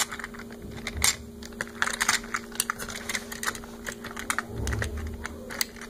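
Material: Plastic.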